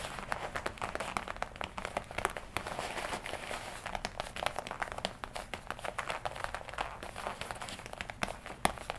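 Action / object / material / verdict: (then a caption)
tap / leather jacket / leather / none. Fingertips and long nails scratch and tap the chest panels of a worn leather jacket, black on the left side and red on the right. A steady, dense crinkling rustle runs throughout, broken by frequent sharp, quick taps that stand out as short bright clicks.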